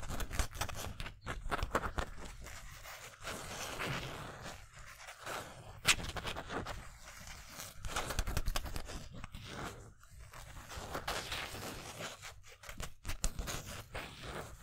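Fingers scratch and rub the twill numbers and lettering on a navy Miller 31 polyester mesh basketball jersey. The result is a continuous stream of dry, bright scratching and rustling with a low rumble underneath, broken by brief pauses and a few sharper scrapes.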